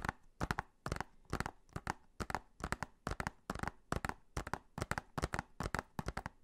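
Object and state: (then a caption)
Plastic Blu-ray case. Fingernails tap and scratch the cover of a blue plastic Blu-ray case held in both hands. Quick, uneven clusters of sharp, bright clicks alternate with brief scratchy rasps. Each tap dies away almost instantly, over a faint low hum.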